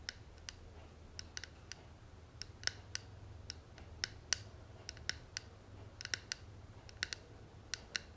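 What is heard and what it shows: Long nails tap the front panel of a closed, hollow gold and tortoiseshell metal cigarette case held in the hand. About 23 short, bright, clicky taps come at an uneven pace over a faint low hum, each dying away almost instantly with a thin, high metallic tick.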